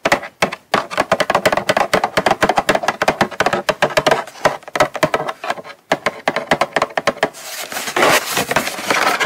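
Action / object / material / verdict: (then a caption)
tap / small closed cardboard box / cardboard / none. Long nails tap quickly on the lid and edges of a small, closed, hollow brown kraft cardboard gift box held up in both hands. The result is a rapid run of short, dry, hollow clicks with a midrange tone and almost no ring. Near the end, the tapping gives way to a steadier, brighter rustling texture.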